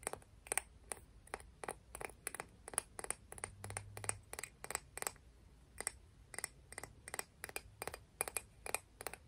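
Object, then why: Clam shell. A clam shell from the beach is tapped and scratched, giving about thirty quick, dry, bright clicks spaced fairly evenly across the clip. Each click dies away almost instantly over a faint low rumble, with no speech.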